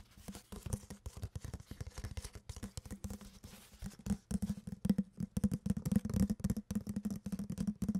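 An empty clear plastic water bottle with a cap and a blue label is handled and squeezed with long nails and fingers. Its hollow body gives off a rapid, irregular stream of crinkles, clicks and taps with a low, hollow resonance. The sound grows louder and denser in the second half.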